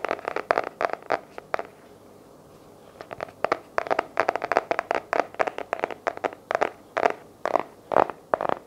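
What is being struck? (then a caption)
Cardboard-covered paper journal. Fingertips and nails tap and scratch the light blue patterned cardboard hardcover of a small paper journal held in both hands. Quick, dry, crackly taps with a hollow mid-range knock and bright edges come in fast bursts, stop for about a second, then resume in a steadier series. Each tap dies away almost instantly.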